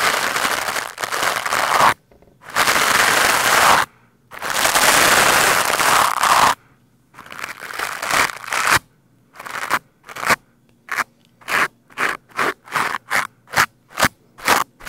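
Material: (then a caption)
Foam. A green plastic scrub brush with white bristles scrapes and brushes a black foam microphone windscreen, producing loud, crackly, broadband scratching with bright hiss and a midrange emphasis. It opens with three long sustained brushing passes, then a shorter rasping pass, and ends in a quickening series of short, separate strokes with near silence between them.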